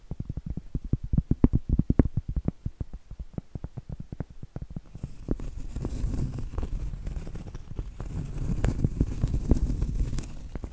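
Medium acrylic nails tap on a round, flat, solid cork board held upright, making rapid, dull, low knocks that die away almost instantly. About halfway through, the nails switch to scratching across the cork. This turns the sound into a steady, rough, brushing rustle with brighter, airy texture and occasional firmer taps.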